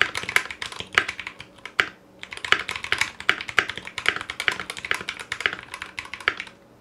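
Fingertips of both hands type steadily on a foam-lined 60% Clueboard mechanical keyboard in a metal case, with Zealios V2 62g switches, GMK ABS plastic keycaps and a coiled cable. The keystrokes are fast, crisp, bright clacks centered around 1.6 kHz that die away almost instantly, with a brief pause near the two-second mark. There is almost no low-end thump.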